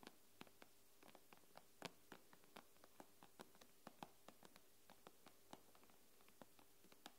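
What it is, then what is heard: Glass tablet screen tapped with nails. Long nails tap and scratch the glass screen of an iPad, with fingertips clustered together. About 26 quiet, sharp clicky taps fall at an uneven pace over a faint steady low hum, each dying away almost instantly.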